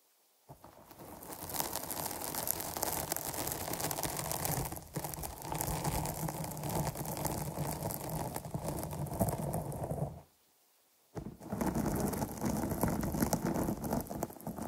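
Long nails scratch the sides and top of a dark foam microphone windscreen, making a dense, continuous rustling scrape with a heavy low rumble and bright, hissy edges. The scratching stops briefly into silence near the end, then resumes just as thick.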